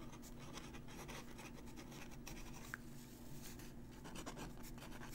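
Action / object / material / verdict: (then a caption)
scrape / paper sheet under a metal pen nib / paper / none. A metal dip-pen nib scratches out cursive writing on a crumpled, aged-look paper sheet held in place by a fingertip. Quiet, continuous scratchy pen strokes ride over a steady low hum, with a brief thin squeak midway.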